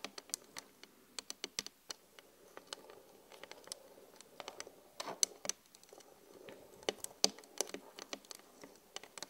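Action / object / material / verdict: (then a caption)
tap / flat glass mirror / glass / none. Long glittery acrylic nails tap rapidly on the surface of a flat glass vanity mirror, producing a quiet, irregular patter of sharp, bright clicks. Each tap dies away almost instantly, with almost no low-end weight beneath a faint, steady background hiss.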